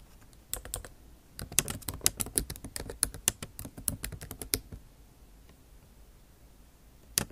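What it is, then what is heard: Laptop keyboard with plastic keys. Long acrylic nail tips type on the low-profile plastic keycaps of a backlit MacBook Pro keyboard set in a silver aluminum body. Bursts of quick, bright clicking taps with almost no ring come in a run from about half a second to nearly five seconds, then pause before one last sharp tap near the end.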